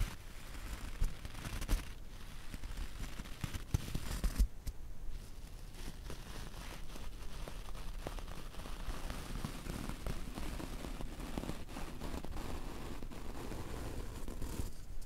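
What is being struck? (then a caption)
Wool loop punch needle coaster. A bristle paintbrush is brushed and rubbed over the textured wool loops of a round white and light blue punch needle embroidered coaster held in the hand. It produces a soft, continuous, low rustling and scratching, with a few sharper crackles in the first few seconds before settling into a steady, muffled brushing.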